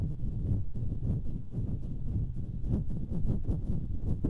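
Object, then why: Metal mesh microphone grille. Long nails scratch the hollow metal mesh grilles of two identical stereo microphones. The result is a steady, dense, low rumbling scrape with a soft hum around 117 Hz, broken by quick scratchy strokes and almost no bright content.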